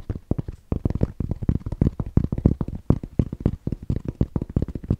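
A grey Bass Pro Shops fabric trucker cap with a fabric crown and a printed patch is held near the mic and scratched and tapped with the fingertips. Rapid, dense, low, muffled thumps and soft scratches follow one another almost continuously, each dying away at once with no ring.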